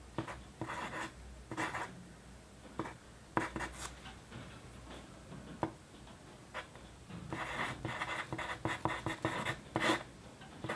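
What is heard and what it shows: The graphite tip of a wooden pencil, held by the fingertips, writes on a flat sheet of white paper lying on a desk. Short, dry scratching strokes come in uneven bursts with brief pauses between them, each with a bright, gritty hiss and almost no ring. The writing continues the same way throughout.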